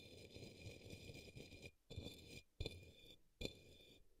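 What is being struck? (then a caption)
Plastic cup. A paintbrush brushes the base of an empty, hollow, upside-down turquoise opaque plastic cup or small bowl resting on a green towel. A continuous soft, scratchy brushing is followed by three separate, sharper swipes. Each swipe is a short burst of hollow, low-heavy rustle, with faint steady bright tones underneath throughout.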